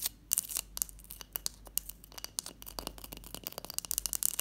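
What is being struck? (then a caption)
Block of clear ice. Long fingernails tap and scratch a large solid block of clear ice resting on a teal cloth. A quick, irregular run of crisp, bright clicks and scrapes sits mostly in the high frequencies, each one dying away almost instantly.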